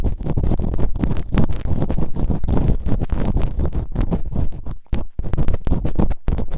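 Bamboo earpicks, held in fingertips with long nails, scratch and rub quickly inside the open canals of both soft, solid, rubbery silicone ear models on a white binaural microphone. The result is a dense, continuous stream of muffled, low, rumbling scratches with a deep thumping body. Brief near-silent gaps break the stream before the rapid rubbing resumes.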